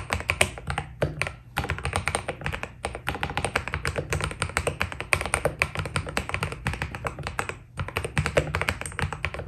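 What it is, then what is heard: Mechanical keyboard with PBT keycaps. A white Keydous NJ80 mechanical keyboard with PBT keycaps is typed on with the fingertips of both hands. Rapid, short clacky taps with a bright click and a low, thocky body run almost continuously. The typing pauses briefly about three times before resuming at the same steady pace.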